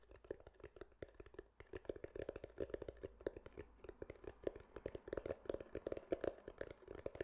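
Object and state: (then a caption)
Foam microphone windscreen. A grey foam windscreen over a microphone, soft and porous, is tapped and scratched with fingertips and nails. A quick, uneven run of soft, muffled taps and short scratching sounds repeats quietly, each dying away almost instantly.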